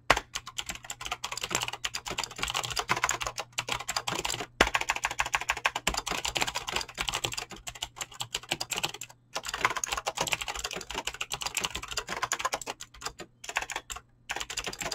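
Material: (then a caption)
Plastic. Fingertips with short painted nails type fast on a full-size mechanical keyboard with Razer green clicky switches and pink-blue PBT plastic keycaps, resting on a desk. Dense, bright, sharp key clicks pour out in rapid bursts with only brief pauses.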